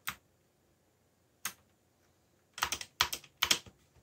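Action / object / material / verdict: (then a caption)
tap / plastic mechanical keyboard / plastic / none. Fingertips press the keys of a backlit mechanical computer keyboard with black plastic keycaps. Two isolated, bright, clicky taps are followed by a quicker cluster of typing taps. Each click is short and dry with almost no low end.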